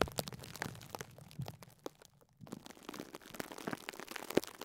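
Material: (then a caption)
Plastic film. Fingertips with short nails press and squeeze the top of a small pink and yellow foam sponge block tightly wrapped in clear plastic cling film, resting on a cloth. The wrap gives off soft, dense crinkles and sharp little crackles with a bright edge. There is a brief near-silent pause about halfway through before the crinkling resumes.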